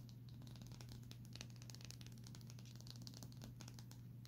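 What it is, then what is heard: Smartphone metal frame tapped and scratched with nails. Long nails tap and scratch along the metal and plastic side frame of a small, solid Samsung smartphone held edge-on. Quiet, rapid, bright clicks and scratchy crinkles run continuously over a steady low hum, each tap dying away almost instantly.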